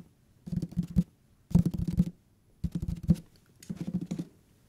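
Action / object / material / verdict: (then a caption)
tap / hardcover paper book / paper / none. Fingertips and nails tap the page edges and cover of a thick hardcover paper book in four short bursts of quick, dull taps separated by brief pauses. The taps are soft and low-pitched with almost no ring, and each burst carries a faint papery rustle.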